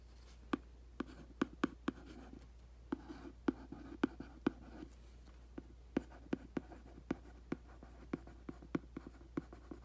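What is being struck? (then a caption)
Printed cardboard box. A makeup brush is scratched and swept across the printed top of a hollow cardboard aquarium box lying flat on carpet. It makes a steady series of short, dry, tapping scrapes with a hollow low-mid body and almost no ring. A faint, constant low hum sits underneath.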